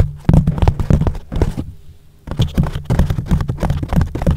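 Palms and fingers rub and press a yellow foam windscreen on a microphone back and forth. The result is a dense run of muffled, low thumping and brushing with almost no high end, broken by a short quiet gap before the rubbing resumes.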